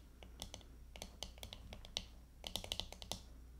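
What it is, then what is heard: Plastic hairbrush back tapped with fingernails. Long fingernails of both hands rapidly tap the back of a glittery plastic hairbrush lying face down. The result is a quiet, uneven patter of sharp, bright clicks with very short decay, pausing briefly in the middle before another quick cluster. A steady low hum sits underneath.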